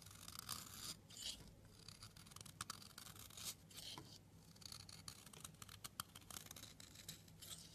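A metal blade scrapes slices off the edge of a blue soap bar, making a quiet, bright, crisp scratching sound. Short shaving strokes and sharp little ticks repeat with brief pauses, and there is a faint low hum underneath.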